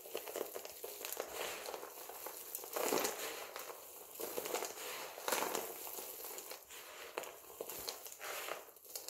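A pile of multicolored dry soap flakes is gathered and squeezed in both hands, giving a dense, dry crunching and crinkling that swells and fades in repeated bursts. The sound is crisp and bright, sitting in the mids and highs with almost no low end.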